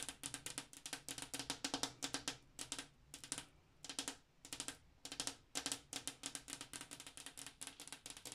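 Long black-tipped acrylic nails tap rapidly on a large, flat, solid glass bathroom mirror. They make quick bursts of sharp, bright clicks with brief pauses between runs. Each tap is very short and dry over a faint low glassy tone.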